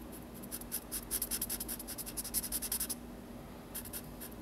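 A felt-tip marker is drawn across a page of a large spiral-bound paper sketchbook lying flat on a wooden table, making inking strokes that rub and scratch the paper. A run of quick, bright, scratchy strokes fills most of the first three seconds, then pauses before a few more strokes near the end over a faint low background hum.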